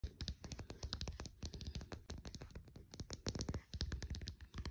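Fingertips and short nails tap and scratch along the body and cap of a small green plastic Degree deodorant stick, a hollow casing with a solid stick inside, lying on a dark fleece blanket. Dozens of quick, dry clicks and scratchy taps come in an uneven stream, each with a soft low thump and almost no ring.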